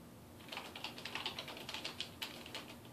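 Fingertips type on the keys of a dark plastic desktop keyboard resting on a wooden desk. After a brief quiet moment, about sixteen quick, bright, clicky keystrokes follow in an uneven rhythm, each with a short tail above a faint low hum.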